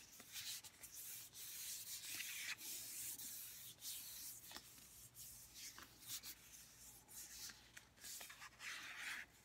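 A white plastic St. Ives lotion bottle is held in the hands and rubbed and scratched with fingertips and long nails. The result is a steady, bright, hissy scraping that swells and fades in soft waves, with occasional sharper scratches and almost no low end.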